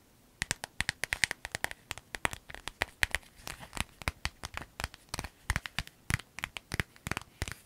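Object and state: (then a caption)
Clear vinyl zip pouch. Long nails tap, crinkle and scratch a small clear vinyl zip pouch with yellow trim while hands squeeze it. About forty quick, dry, sharply decaying taps and crinkles sound in an uneven patter, bright and plasticky with a faint tone near 2 kHz.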